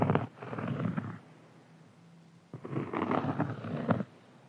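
Fingertips and nails scratch a large, round, flat, solid cork board in two bursts of dry, muffled rasping. The sound is dull and low-mid, with a brief faint low hum in the quiet gap between the passes.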